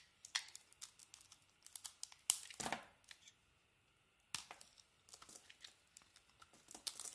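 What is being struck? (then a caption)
Coated bar of soap. A solid bar of soap with a multicolored striped coating and a white interior is held in the hand while chunks are cut and shaved off it with a metal blade. Many crisp, bright scraping and crackling cuts follow one another, with a longer rasping shave near the middle and a brief quiet pause before the cutting resumes.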